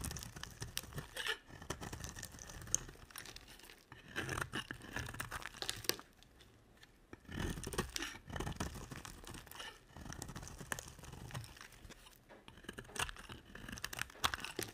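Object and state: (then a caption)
Bar of soap being carved. A utility knife blade scrapes and carves a solid cream bar soap, making dry, crisp scraping and crunchy crumbling sounds with a bright, high hiss. The carving comes in bursts of quick strokes separated by short quiet pauses.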